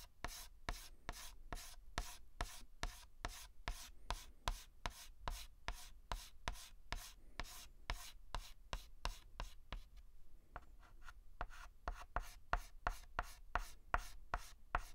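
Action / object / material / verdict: scrape / chalk stick on a blackboard / chalk / none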